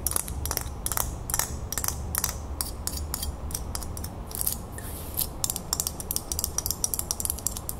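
Long nails tap and scratch along a small, solid, brass-colored metal crown ornament lying flat in a palm. A rapid series of short, bright metallic clicks and scrapes rings out over a steady low rumble.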